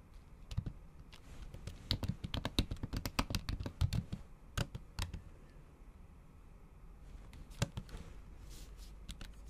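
The tips of long acrylic nails tap repeatedly on a MacBook keyboard whose solid keys sit under a thin pink patterned plastic/silicone cover. The dull, short clicks come in a dense flurry in the first few seconds, then a couple of isolated taps, a quieter lull, and a few more taps near the end. Each click stops almost instantly, with most of its weight low and only a little high, bright tick.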